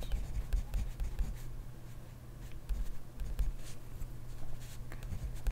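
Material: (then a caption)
Paper. A hand writes steadily with a plastic-bodied pen in an open grid-ruled paper notebook on a desk, the pen tip scratching across the paper. Soft, dry scratching strokes come in uneven bursts over a steady low hum.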